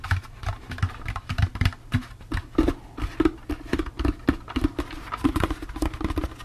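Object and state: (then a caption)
Hollow empty plastic pumpkin bucket. A hollow, empty orange plastic jack-o'-lantern candy bucket is tapped with fingertips and nails while being rotated in the hands. The result is a quick, irregular run of short, dry taps and clicks with a faint hollow ring around 330 Hz.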